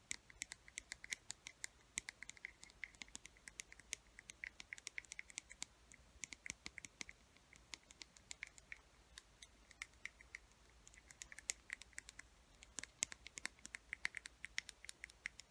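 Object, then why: Small plastic paint bottle with cap. Long fingernails tap and scratch the black cap and body of a small yellow plastic paint bottle. The result is a quiet, steady run of sharp, dry, bright clicks mixed with soft scratching, with no ring after each tap and almost no low end.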